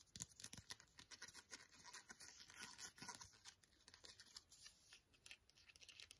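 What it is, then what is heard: Foil antiseptic wipe sachet. A small, flat, sealed green foil antiseptic wipe sachet is held in both hands and tapped and scratched with painted fingernails. The result is a quiet, steady run of bright, crinkly clicks and scratchy rustles with almost no low end.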